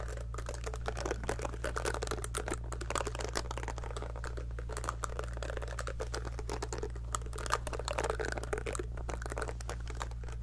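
Long nails repeatedly pluck the silicone bristles of a small pink heart-shaped scalp massager brush held near the mic. The result is a dense stream of soft, rapid ticks and crinkly crackles in the midrange over a steady low hum.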